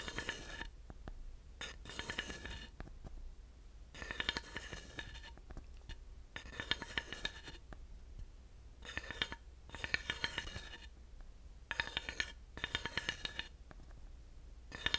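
A thin wooden dowel taps and scrapes across the parallel grooves and ridges of a flat, solid wooden panel that is held up. Short bursts of bright, rattling scraping, with a ringing tone near 1.8 kHz, alternate with quieter stretches of sharp, dry clicks that die away almost instantly. The overall level stays soft.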